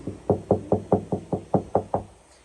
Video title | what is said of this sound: VW Golf GTI Getting a New Sound System With a 10" Sub + Sound Test | this door panel here hasn't been soundproofed, so if I knock on this, hopefully that comes across where you can hear that